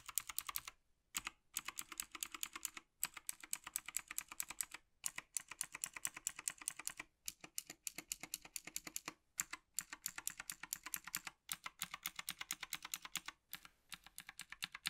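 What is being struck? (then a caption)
Plastic mechanical keyboard. A gloved fingertip taps the keys of a black plastic Logitech G PRO TKL tenkeyless mechanical keyboard, moving from the spacebar area toward the left edge. Rapid bursts of bright, crisp clicks come in quick runs separated by brief pauses. Each click is dry and stops at once, with almost no low end.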